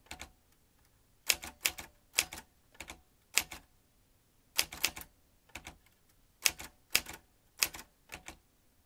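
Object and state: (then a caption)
Metal manual typewriter. A vintage metal manual typewriter with a typebar basket is typed on quickly with fingertips, producing bright, sharp clacks in short uneven bursts separated by brief pauses. Each strike is crisp and dies away almost instantly.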